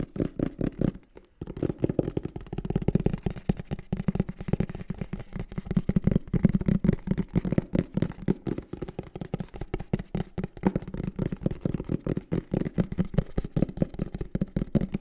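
A green and black printed cardboard microphone box is held close and tapped and scratched with the fingertips and nails. Rapid, dense taps and scratches produce dry, hollow, low thuds with no ring, pausing briefly near the first second before continuing steadily.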